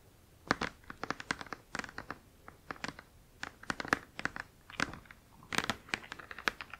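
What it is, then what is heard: Cardboard box tapped and scratched with nails. Long acrylic nails tap and scratch along the lower edge of a large, flat, printed cardboard Spirograph box lying front face up on a blanket. Quick bursts of sharp, dry clicks and scratchy crinkles come in uneven clusters, bright and thin with almost no low end. Each tap dies away almost instantly.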